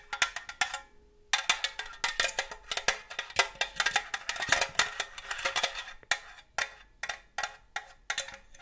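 A hollow red and green cylindrical metal cookie tin with a green lid is tapped with long gold claw nails, producing rapid, bright metallic clicks and pings. The taps come in quick clusters with a short pause near the start, each ringing briefly with a clear tone around 1.8 kHz and almost no low end.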